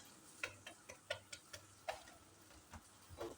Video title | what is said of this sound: روتين ‼️ أول ظهور ليا بعد ما خلعت النقاب ‼️ بعد الفديو أضمنلك إنك هيكون عندك قوه تشجيع رهيبه ⁉️ | جميلة جدًا بتخبط كده من برّه ومقرمشة جدًا